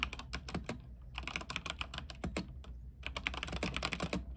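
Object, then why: Mechanical keyboard with plastic keycaps on an aluminium frame. Fingertip typing with both hands on an RGB mechanical keyboard with white plastic keycaps on an aluminium frame produces quick, crisp clacks with a bright ring and a soft low thock beneath. The keystrokes come in bursts separated by short pauses, over a steady low hum.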